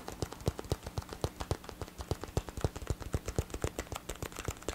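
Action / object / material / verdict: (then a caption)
tap / plastic headphone ear cup / plastic / none. Fingertips and nails tap the hollow ear cup of a black plastic gaming headset with blue LED accents. The result is a quick, uneven run of short, dry tapping clicks with a hollow low thump and brief bright ticks that die away almost instantly. A faint steady low hum runs underneath.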